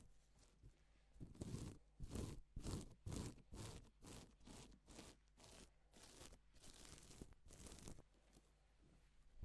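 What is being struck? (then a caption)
Reversible plastic sequin fabric. Gloved hands and fingertips rub and sweep across a silver and pink reversible plastic flip sequin fabric sheet, flipping the sequins. A series of soft, crinkly swishing rasps repeats about twice per second in a loose rhythm, each stroke a brief bright scrape over a low rustle. The sequins flip from one side to the other with each pass.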